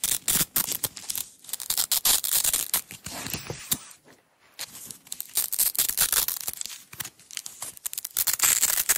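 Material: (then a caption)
Nylon. Long nails peel the strip from a small red nylon hook-and-loop tape roll. Quick, irregular bursts of bright, crackly ripping come in rapid runs, with a brief quiet pause near the middle before the tearing picks up again.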